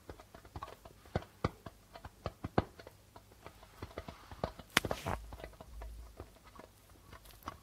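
Fingertips and nails of both hands tap quickly across the white plastic membrane of a hollow darbuka drum. The result is a series of short, dry, clicky taps with brief low thumps and very little ring. Near the middle, a louder cluster of taps gives way to a softer rustling wash before the light tapping resumes.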